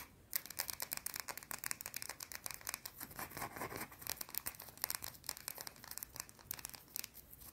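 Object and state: Soap bar scratched with fingernails.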